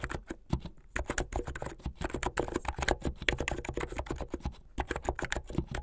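A full-size plastic mechanical keyboard with white and blue hollow plastic keycaps on switches and a blue backlit case is typed on fast by fingertips with long painted nails. It makes a rapid, continuous stream of short, dry clacks with a low thud under each press and a bright click on top, and almost no ring after each hit.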